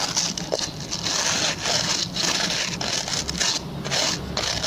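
A hand-sized oval white plastic brush with plastic pin bristles is scratched and rubbed by fingertips and short nails. The result is a bright, dry, continuous scratching with repeated rasping strokes and brief dips between passes.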